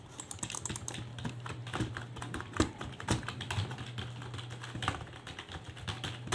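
One hand types with its fingertips on a full-size black and grey plastic desktop keyboard, its keys set over a hollow plastic case resting on a desk, with the mouse in front left untouched. A steady, uneven stream of short, clicky key taps runs throughout, over a constant low hum, with a few louder clacks standing out, the sharpest near the middle.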